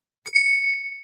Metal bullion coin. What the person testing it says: It rings and rings and rings.